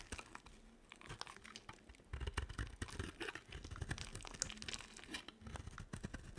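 A small metal blade carves brittle shavings from a hand-sized, dry bar of white and pink soap with a silver rim. The cuts give dense, dry crunching and crackling scrapes that are quick and unresonant, with bright grit up high and thumpy low body. The scrapes come in close bursts, heavier in the middle and end of the clip.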